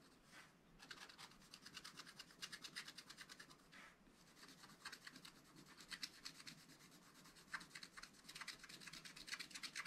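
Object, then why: Wax-coated scratch-art paper scraped with a wooden stylus. A wooden stylus rubs back and forth across a black-coated scratch-art page in a spiral-bound book, clearing the coating. Quick, steady strokes make a dry, bright, hissy scratching with almost no low end. The rhythm pauses briefly twice before picking up again.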